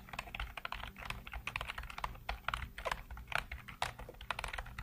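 Fingertips rapidly type on a black plastic computer keyboard with hollow keycaps, producing a quick, uneven run of about 25 short, dry clicks. The clicks are bright and clattery, each dying away almost at once over a faint low hum.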